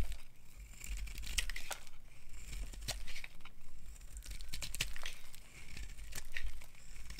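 A hand-sized, solid white bar of dry soap with a black coating is held in the hand and scraped with a metal knife into thin, crumbly flakes. Each pass makes a dry, crisp crinkling scrape with bright, sharp edges over a steady low hum.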